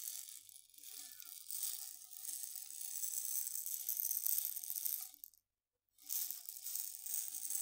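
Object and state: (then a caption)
Glass jar of dried green lentils. A medium glass jar with a gold metal screw lid, full of dried green lentils, is held in both hands, tilted and shaken so the lentils rattle, with fingertip and nail taps on the glass. The sound is a dense, bright, hissing rattle that stops briefly to silence just past the five-second mark, then resumes.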